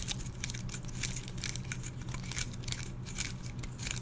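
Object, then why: Pine cone scales. A single small, dry, brown pine cone with open woody scales is held in both hands close to the microphone while fingertips and nails flick and scratch its stiff scales. The result is a quick, continuous run of bright, crisp crackles and clicks over a steady low hum.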